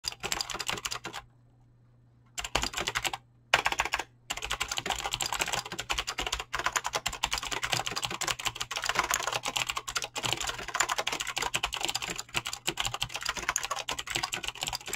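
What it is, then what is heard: Mechanical keyboard with plastic keycaps. Fingertips with short nails type fast and continuously on a full-size Razer mechanical keyboard with clicky green switches and pink-blue dyed PBT plastic keycaps, sitting solidly on a desk. The result is a dense stream of crisp, bright clicks with very little low end and almost no ring. There is a short silent pause near the start and two brief gaps soon after.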